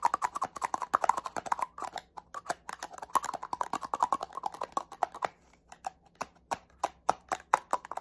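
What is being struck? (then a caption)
Small plastic spray bottle with cap. Fingernails tap quickly on the body and cap of a small black plastic cosmetic spray bottle with a cap. A rapid stream of short, dry plastic clicks centers around 940 Hz, dense at first, then thinning into sparser taps with brief pauses toward the end.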